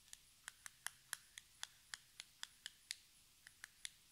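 Long red nails tap a small, hollow, metallic-pink cardboard cosmetic box at a slow, uneven pace. Sixteen quiet, bright, clicky taps are heard, each dying away almost instantly, with little low end beneath them.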